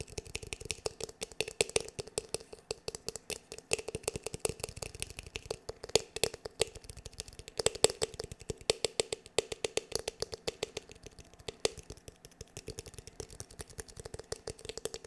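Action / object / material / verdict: tap / plastic paddle hair brush / plastic / none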